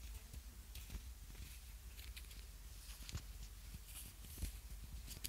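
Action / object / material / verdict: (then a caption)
tap / small ribbed plastic lip balm egg / plastic / none. A small, hollow, ribbed yellow plastic egg-shaped lip balm container is held close to the mic and tapped and scratched with fingernails. Quiet, crisp clicks and scratchy bright ticks sit over a low, steady rumble, each tap dying away almost at once.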